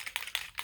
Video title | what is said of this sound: Best Affordable Makeup of 2019 - Beat the Face BUT on a BUDGET!!! | if you listen when you shake it up it sounds like paint